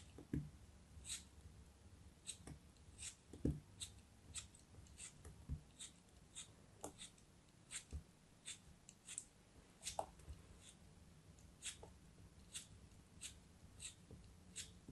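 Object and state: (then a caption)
Kinetic sand block being cut. A hand with long pink nails holds a packed chunk of orange kinetic sand with green glitter while a craft knife blade slices and scrapes through it. Repeated short, crisp crumbly crunches ring out high and bright over a quiet low rumble.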